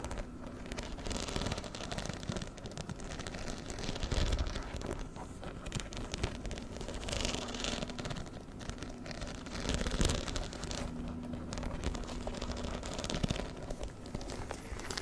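Fingernails scratch and tap quickly over the metal-set rhinestones densely covering a small black fabric handbag held up in one hand. A continuous dense crackling, rustling texture of fast, overlapping clicks runs the whole time, with a strong low rumble underneath and a faint steady hum.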